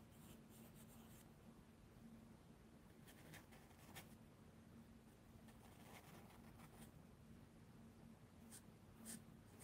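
A charcoal pencil rubs and scratches dark shading onto a mixed media paper sketchbook lying flat on a wooden table, with the other hand resting on the book. Soft, steady scraping and rubbing continue throughout, broken by brief brighter scratchy strokes.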